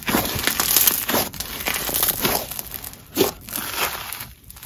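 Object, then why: Grainy crunchy slime. Red grainy crunchy snow fizz slime is pressed flat with the fingertips and squeezed into a ball with both hands on marble. It gives a steady stream of bright crinkling, crunchy crackles, with a louder burst near the three-second mark.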